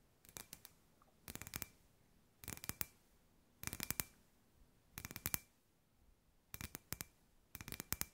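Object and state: Glass ball lamp tapped with fingernails.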